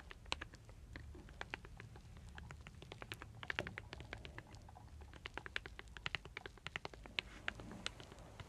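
A hand-sized folding fan of thin solid light-wood slats is held in both hands while long dark nails and fingers riffle and flick the slats, making them clack against each other. Many quick, dry, bright clicks come in irregular bursts, each dying at once, over a soft low background hum. A wooden bowl and cup sit nearby untouched.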